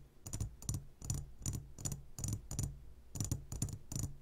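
Fingertips tap the walls of a clear glass jar full of gummy candies, giving 11 quick, irregular taps over about four seconds. Each tap is a soft, low thud with a bright, clicky edge that dies away almost at once.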